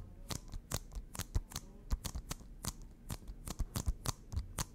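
A small, hollow plastic Nintendo Switch game case with a printed cover, apparently still shrink-wrapped, is held in both hands and tapped and scratched with long fingernails. A quick, irregular series of sharp, dry clicks and bright crinkly scrapes sounds over a soft low thump, each tap dying away almost at once.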